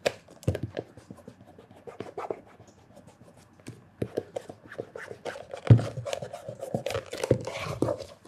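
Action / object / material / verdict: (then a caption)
scrape / leather loafer / leather / none. Fingertips wrapped in cloth rub quickly over the toe and heel of a black leather loafer with a hollow stacked leather heel. The result is a run of soft, scratchy rubbing strokes mixed with dull, low thumps that die away almost instantly, growing denser and busier toward the end.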